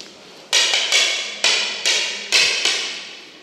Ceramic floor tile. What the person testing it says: Masyadong maingay. Ibig sabihin nito is hindi talaga nakalatag ng maayos yung tiles.